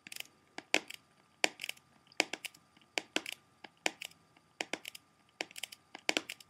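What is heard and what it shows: A small, hollow, closed plastic CD jewel case with a Blondie cover, possibly still partly in its cellophane wrap, is held in both hands while its front is tapped and scratched with fingertips and short nails. Quick clusters of bright, dry clicks and crackly scratches come in irregular bursts, each stopping almost instantly with no ring. A faint steady hum sits underneath.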